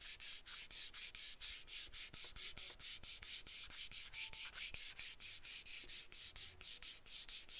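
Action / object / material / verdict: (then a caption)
scrape / aluminum aerosol can / aluminum / none. A small, hollow aluminum aerosol can with a dark cap is held in one hand and tapped and scratched along its body with long acrylic nails. About 34 quick, bright scratching strokes follow one another in a steady rhythm, each a short hissy rasp with almost no low end.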